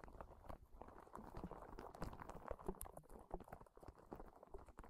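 Long nails and fingertips scratch and squeeze the spikes of a small, hollow, yellow-green soft rubber spiky sensory ball. The result is a dense, uneven run of soft crackling scrapes and quick muffled taps, weighted toward low tones with faint bright ticks.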